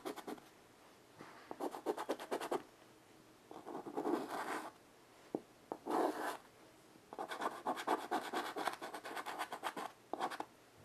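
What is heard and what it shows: A child's fingers hold white chalk and draw short strokes on the slate surface of a small rectangular chalkboard with a light wooden frame, lying flat on carpet. Bursts of dry, bright chalk scratching come in uneven runs of quick ticking strokes and longer rasping swipes, with a couple of isolated light taps and quiet pauses between.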